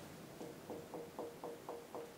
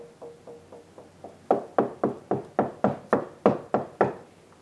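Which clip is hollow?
The second.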